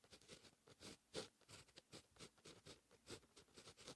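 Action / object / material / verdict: scrape / fine-tip pen on paper notebook page / paper / none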